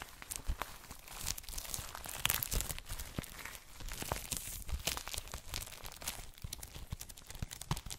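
Fingertips rub and tap the clear plastic wrap on an A4-size ELLE paper magazine, making the cellophane crinkle. Dense, bright crackling runs throughout, broken by sharp taps and short swells of rustling.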